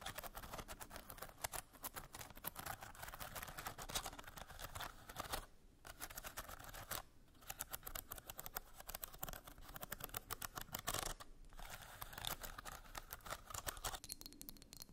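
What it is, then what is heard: Bamboo slat box being scratched. Long nails scratch across the slats of a small hollow bamboo slat box with a curved lid, making a dense, rapid run of dry, bright scraping clicks. The scratching pauses briefly a few times before starting again.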